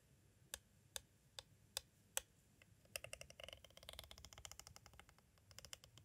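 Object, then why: Plastic cassette tape case. A metal-tipped green tool taps on the side edge of a clear plastic cassette tape case held at an angle. Five evenly spaced, sharp, bright clicks are followed by a quick, dense run of light tapping that fades out.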